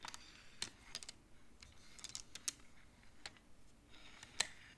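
Fingertips slide the colored wooden beads along the metal rods of a large wooden-framed abacus so they click together. About ten short, dry, bright clicks come at an irregular pace over a quiet background, with the strongest click near the end.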